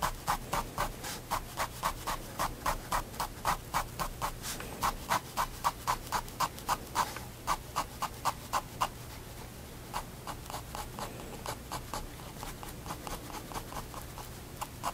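A fine liner pen tip scratches dense hatching across a white paper sketchbook page resting on a wooden desk. Quick, crisp strokes repeat at nearly four per second, each a short dry scratch with a mid-pitched rasp around 1 kHz. The strokes briefly pause near the ninth second, then continue more softly.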